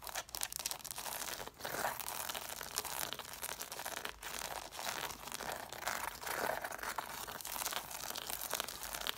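Long nails rapidly scratch and tap the solid paper page edges and cloth covers of a stack of six red cloth-bound hardcover books. The result is a dense, continuous run of dry, crinkly scratching and crisp, quick taps that are bright and papery, with almost no low end and no ringing after each touch.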